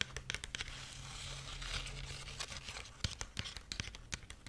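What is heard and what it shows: Long nails scratch and rub the dry husk strips of a dried corn husk rabbit figurine. The result is a bright, crackly rustle with sharp, crisp clicks over a faint low hum. The sound swells into a denser crinkling in the middle, then breaks into scattered snaps.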